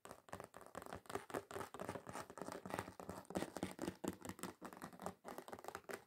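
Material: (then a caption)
Card. Long pointed acrylic nails rapidly scratch and tap across a flat, thin, solid red glitter-covered card or board lying on a counter. The result is a steady stream of dry, gritty scrapes and quick clicks that stop short with almost no ring, mostly in the low-mid range with a faint bright sparkle.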